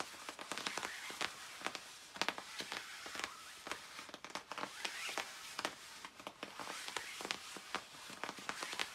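Long nails scratch the lower back area of a shiny black nylon puffer jacket with soft padded fabric. Quick, crisp strokes crackle and rasp across the material in a steady, uneven rhythm. The sound is bright and papery, centered around 940 Hz, with almost no low end and no ring after each stroke.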